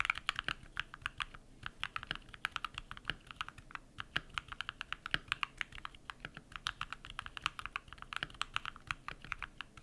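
Rapid typing with bare fingertips on a compact modded mechanical keyboard with white PBT plastic keycaps and lubed switches, solidly desk-mounted. A dense, steady stream of short, crisp clacks with bright, high-leaning tops and little low end, each press dying away almost instantly.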